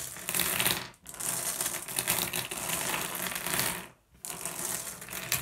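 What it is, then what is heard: Glass gem pebbles being raked. Fingers rake and shuffle a pile of small, solid blue glass gems on a wooden tabletop, producing a dense, continuous stream of bright clicks and rattles as the gems knock against each other. The shuffling briefly pauses near the 1-second and 4-second marks before resuming.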